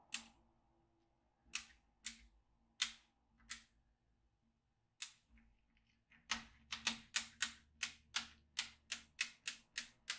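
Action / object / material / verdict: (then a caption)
tap / plastic magnetic drawing pad with steel beads / plastic, steel / none. A yellow plastic magnetic pen is moved across a small, flat black plastic magnetic drawing pad, clicking up the metal beads held in its grid of holes. The result is 19 short, bright clicks: six scattered snaps over the first five seconds, then a quicker, steady run of thirteen.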